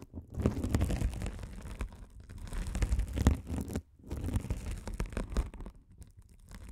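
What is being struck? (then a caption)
Mesh-covered foam scouring sponge. A rolling gold metal spiked roller scratches across a hand-sized blue glitter mesh scouring sponge with a sparkly woven mesh cover, soft and solid, held over the microphones. The result is a deep, muffled, dense scratching and rustling, mostly low rumble with little brightness. It comes in continuous bursts with brief pauses near 2 and 4 seconds.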